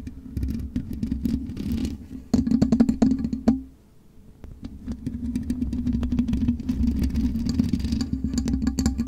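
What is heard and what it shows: Long nails scratch the black metal mesh grille of a USB microphone, first with one hand and then with both. A dense, rasping clatter of quick scrapes rides over a steady low drone. The sound drops away briefly near the middle and then returns, continuing to the end.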